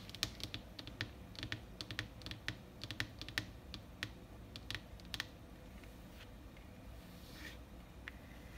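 Fingertips and long painted nails tap and scratch in quick bursts on a large, flat printed paper world map lying on a hard desk surface. Crisp, dry clicks cluster through the first five seconds, then give way to a few softer scratches over a low, steady background hum.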